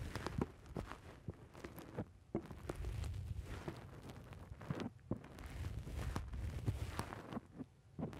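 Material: Foam.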